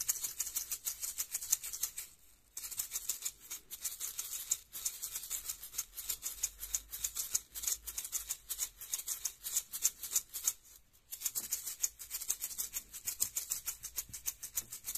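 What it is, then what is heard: Plastic capsule with loose contents. A small, hollow, orange plastic egg-shaped toy capsule is held in the fingers and shaken rapidly, rattling what seem to be loose contents inside. The sound is a dense, bright, high-pitched clatter of quick, dry ticks with almost no low end, pausing briefly twice before the shaking resumes.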